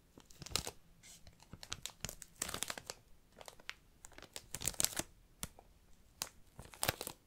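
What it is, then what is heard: Plastic-wrapped book. Fingertips and nails crinkle and scratch the clear plastic shrink wrap sealing a hardcover book. The clip is a quiet, irregular series of crisp, bright crackles and short scratchy bursts, with brief pauses between handlings.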